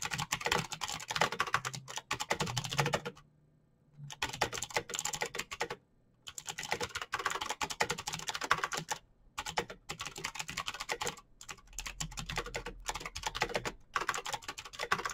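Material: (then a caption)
Plastic. Fingertips type fast on a black, backlit plastic mechanical keyboard with clicky switches. The clip is a dense stream of sharp, bright clacks in bursts, with short silent pauses between them.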